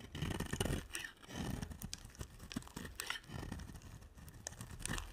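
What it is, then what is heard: Dry bar soap being scraped. A utility knife blade scrapes curls off a solid, dry cream-colored bar soap held in the hand. The result is a steady run of soft, crackly scraping strokes with a low, dull body and brief bright edges.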